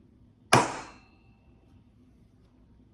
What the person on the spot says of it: sounds like hitting a heat sink